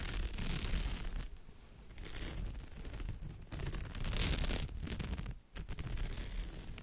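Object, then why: Woven straw bag. Long nails scratch back and forth across the weave of a woven straw or raffia purse, heard close up. It makes a dry, crinkly scraping and rustling with a low rumble underneath and bright edges. Brief quieter gaps fall between the passes.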